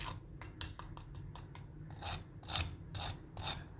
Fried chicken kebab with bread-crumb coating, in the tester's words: you can hear the sound of how crispy it is and its coating is not coming off